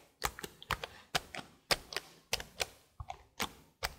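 Long blue nails tap the plastic keys of a detached black plastic laptop keyboard held up by hand, giving fourteen quick, bright clicky taps. Each tap is dry and short, with hard high clatter and almost no low end.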